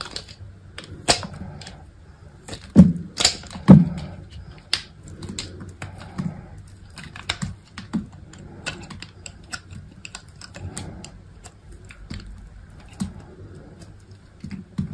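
A small metal craft blade with an orange handle shaves and cuts into a solid white bar of soap held in the fingers, and curls and chips pile up underneath. Short, dull, low-pitched cuts and scrapes come at an uneven pace over quiet rustling, with a few louder snaps near the start. Each sound stops quickly with almost no ring.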